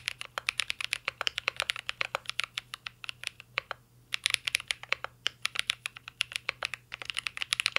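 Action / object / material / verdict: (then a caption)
tap / mechanical keyboard with plastic keycaps and metal case / plastic / none. A mint-green Cyberboard R3 mechanical keyboard with plastic keycaps and a metal case is typed on continuously with the fingertips. Rapid, bright, clacky key taps come in quick bursts, with brief pauses near four and seven seconds. Each tap is short and dry with almost no ring.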